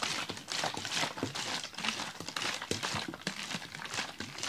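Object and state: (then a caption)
Plastic water bottle holding frozen slush. A large clear ribbed plastic water bottle holding frozen slush is held by the fingers and shaken. It makes a continuous bright crinkling and crunching, with quick knocks and swishes of icy slush against the plastic. The texture stays dense and high-pitched with little low end.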